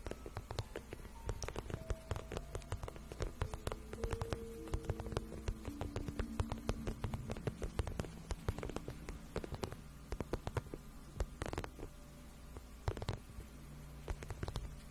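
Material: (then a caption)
Patent vinyl. Long nails scratch and tap along the shaft of a glossy pink patent vinyl boot, which is soft and hollow. It makes a dense run of quick, dry scratches and clicks over a steady low hum, with faint squeaky tones sliding up and down in the low-mid range. The sound stays close and quiet throughout.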